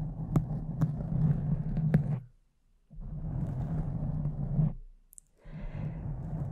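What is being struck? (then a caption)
Foam microphone windscreen. Long decorated nails of both hands scratch and rub a soft, porous pink foam windscreen on a large silver microphone. The result is a deep, muffled rumbling scrape in three bursts separated by short silences, with a few sharp ticks in the first burst.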